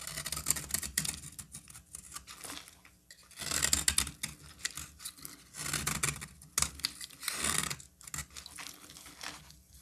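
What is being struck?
Solid bar of soap.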